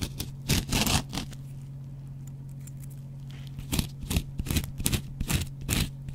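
A dry, hand-sized kitchen cellulose sponge with a scouring pad, yellow foam side, is scratched with a metal double-edge razor blade held in the fingers. Bursts of bright, crackly scraping come in two clusters, separated by a quieter stretch in the middle, over a steady low hum.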